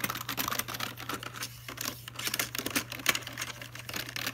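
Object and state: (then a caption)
Plastic computer keyboard. Fingertips tap on the keys and space bar area of a full-size black plastic Logitech keyboard. The result is a quick, irregular patter of short, bright plastic clicks over a faint, steady low hum.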